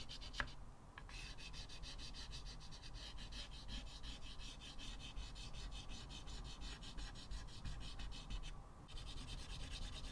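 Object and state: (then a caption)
Chalk scratching on a chalkboard. A small white piece of chalk held in the fingertips makes many quick scratching strokes across a flat blackboard set in a wooden frame. The rapid, rhythmic scratching carries a bright, hissy edge over a steady low rumble, with two brief pauses near the start and end.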